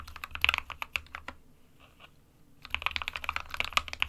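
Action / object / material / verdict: tap / plastic mechanical keyboard / plastic / none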